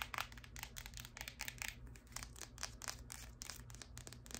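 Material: Plastic.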